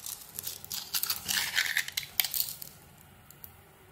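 A metal blade cuts slices from a hand-held solid white soap bar with a black speckled coating and scrapes its edges. The result is a run of crisp, bright scraping and crunching bursts that are mostly high in pitch with little low end. The cutting fades into near silence for the last second.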